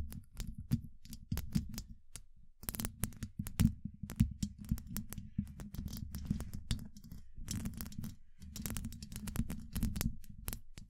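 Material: Steel mesh.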